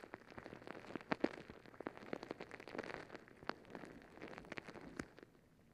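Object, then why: Rubber stress ball filled with water gel beads. A palm-sized blue and green squishy stress ball, a soft, full rubber skin filled with water gel beads, is held over the mic and scratched and squeezed with long acrylic nails. It makes quiet, dense crackling and squelching with many short, sharp clicks and ticks that stop almost instantly, mostly in the low-mid to mid range. A few brighter snaps stand out from the steady, rain-like patter.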